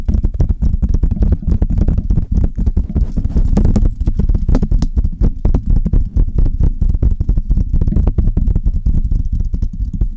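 Long red nails tap and scratch the hollow metal mesh grille of a Blue Yeti microphone while fingers rub across it. The result is a dense, fast stream of short, muffled thumps with a deep boomy low end around 70 Hz and faint brighter scratchy clicks on top. The sound continues steadily for about ten seconds.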